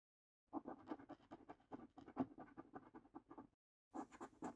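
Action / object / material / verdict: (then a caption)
scrape / paper lottery scratch card scraped with a coin edge / paper / none. A coin edge scrapes across the middle row of the same paper lottery scratch card, producing a rapid series of short, dry scratching strokes with a low-mid rasp. After a brief pause, the scratching resumes with brighter, hissier strokes at the end.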